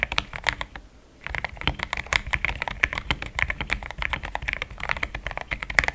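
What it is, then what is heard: Mechanical keyboard with plastic keycaps. A compact pink-cased mechanical keyboard with cream thick XDA plastic keycaps is typed on quickly with fingertips. Dozens of short, crisp clicks with a bright peak near 2 kHz come in a steady stream, with a brief pause near the one-second mark. The keystrokes sound solid.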